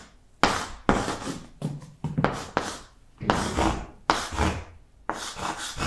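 Yellow chalk writes the alphabet across a large, flat green blackboard, producing a series of separate scratchy, rasping strokes with short pauses between them. Each stroke starts sharply and then scrapes on briefly, with bright, gritty texture over a light low thud of chalk meeting the board.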